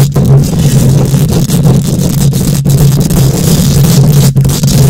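Long acrylic nails and the fingertips of both hands scratch and rub directly on the rounded, hollow, fist-sized metal wire-mesh grille of an uncovered condenser microphone head. The result is a loud, continuous, boomy scraping rumble, heavy in the low end with a steady low tone and a faint bright rasp on top. A few brief dips break it as the strokes change.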